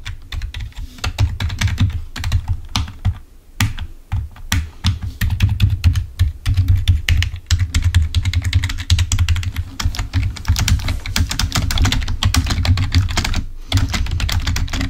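A full-size black plastic Microsoft membrane keyboard, wired and lying on a white table, is typed on rapidly with the fingertips of both hands. It gives a dense stream of short, dry key clicks with bright edges over a steady low hum. There are brief pauses around the fourth second and near the end.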